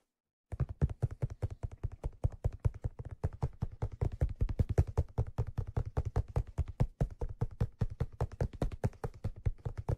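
After half a second of silence, fingertips tap rapidly and continuously on the leather crown of a black leather fedora hat. The taps are soft, dull, low thumps with almost no high end, each dying away almost instantly, in a loosely regular rhythm for the rest of the clip.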